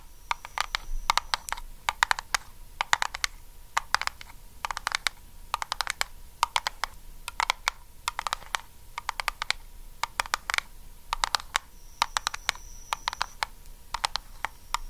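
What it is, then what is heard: Metal cream tin. Long acrylic nails of both hands rapidly tap and scratch a small round blue Nivea metal tin with a lid, apparently full of cream, held close. Quick bursts of bright, dry metallic clicks come in tight clusters, each dying almost instantly, over a faint steady tone near 940 Hz and a soft high hiss.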